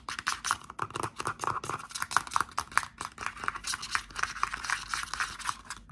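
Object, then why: Plastic shower gel bottle. Fingertips and short nails tap rapidly on the cap and body of a dark blue plastic Axe Wild Mojito and Cedarwood shower gel bottle, which is hollow with contents inside. The taps are quick, light and clicky, with a hollow plastic tone near 1.1 kHz and bright edges. Each one dies out almost instantly, with no ring.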